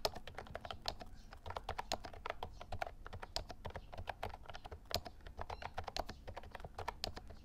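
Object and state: Plastic mechanical keyboard being typed on.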